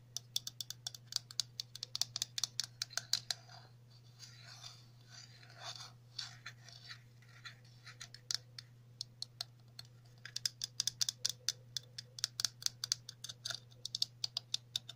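Long natural nails tap and scratch along the ribbed edge of a small hollow red plastic cap with a central hole, making rapid, bright, dry clicks with almost no ring. In the middle, the tapping thins into softer, hissy scratching over the ridges before the quick clicking picks back up, all over a faint steady low hum.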